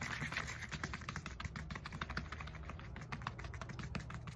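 Long fingernails quickly scratch and tap the knobs of a black textured foam roller with a hollow core. The result is a dense, continuous stream of rapid, sharp clicks and scratchy rasps that sounds like fast typing, over a steady low hollow rumble.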